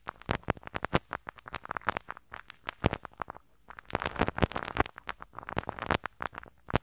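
A pink rubber-bristle brush scratches and rubs the small hollow metal mesh grille over the right capsule of a handheld stereo recorder. The result is a rapid run of sharp, popping crackles and brushy scrapes spread from low thuds to bright hiss, with a brief quieter pause in the middle before the scratching picks up again.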